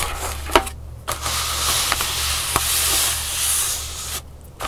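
Long pink nails scratch and tap along the pleats of a flat, thin, multicolored pleated paper fan lying on a wooden table. A bright, hissy scratching runs nearly throughout, broken by three sharp, short taps and a couple of brief quieter pauses.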